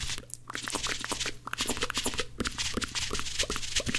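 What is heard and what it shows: Two dry blue cellulose kitchen sponges are stacked, then squeezed and rubbed together between both hands. The result is a fast, irregular stream of dry crunching and crackling scrapes, bright and hissy in the highs. A steady low hum sits underneath.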